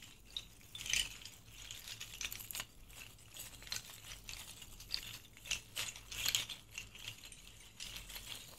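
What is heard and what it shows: A bundle of thin, hollow rattan reed diffuser sticks is cupped in both hands and rolled, rubbed and shaken with the fingertips. It makes a quiet, bright, dry rattling clatter of quick clicks and ticks, centred around 3.2 kHz, with almost no low end. The clicks come in uneven bursts that die away almost instantly.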